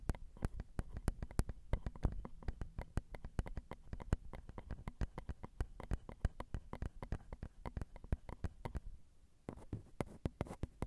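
Long acrylic nails tap the metal mesh grilles of a Zoom recorder's XY microphone, its small hollow capsules. A steady, fast run of soft, dull taps lands close to the mic, mostly deep low thumps with short, faint bright clicks and almost no ring. The taps pause briefly near the end, then resume more sparsely.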